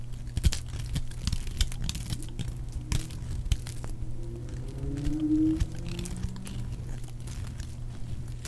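A metal blade repeatedly shaves along the side of a solid, dry, palm-sized red soap bar, peeling off thin curls. Soft, dry scraping and cutting sounds come in quick, uneven strokes over a steady low hum, with a faint rising tone near the middle.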